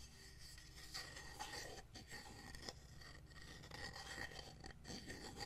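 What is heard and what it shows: Fingernails tap and scratch a solid, hand-sized painted wooden heart plaque with a fabric insert and wooden buttons, held in one hand. A quiet, continuous dry rasping is broken by light, short ticking taps, with a thin, bright edge above a low, soft rumble.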